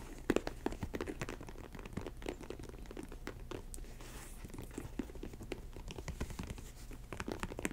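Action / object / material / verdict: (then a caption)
scrape / faux leather ankle boot upper / faux leather / none. Long acrylic nails scratch and tap the textured upper of an empty snakeskin-print faux leather Chelsea ankle boot standing on a table. The result is a quiet, continuous stream of short, dry clicks and soft crinkly scratching.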